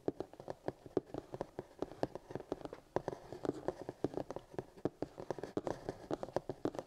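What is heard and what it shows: Fingertips of both hands tap and drum across the lid of a black hard plastic paint kit case with a printed cardboard sleeve, lying flat and hollow. A quick, steady patter of short, dry taps with a hollow tone around 380 Hz, each dying away almost at once.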